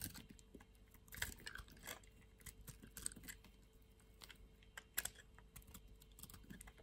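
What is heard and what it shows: A utility knife blade shaves the edge of a thin remaining strip of a solid white soap bar held between the fingers. Soft, dry scraping and rapid tiny crackles run throughout, with brighter crisp crunches standing out near the start and again about two-thirds of the way through.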